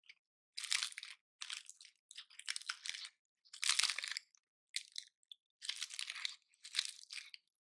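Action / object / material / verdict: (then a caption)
scrape / pine cone with woody scales / wood / none. Fingertips and nails pluck and snap the woody scales off a dry, palm-sized pine cone with white-painted tips. The result is a series of short, crunchy, crackling bursts, bright and high with almost no low end, separated by brief silences.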